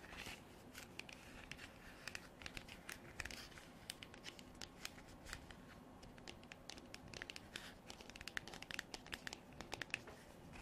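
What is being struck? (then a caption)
Textured hard plastic container. Long black artificial nails tap and scratch a hand-sized white frosted hard plastic container with an embossed pattern and a white cap, hollow and apparently empty. Quiet, dense, crisp clicks and dry rasping scrapes follow one another rapidly. The sound is bright, with little low end, and each tap dies out almost instantly.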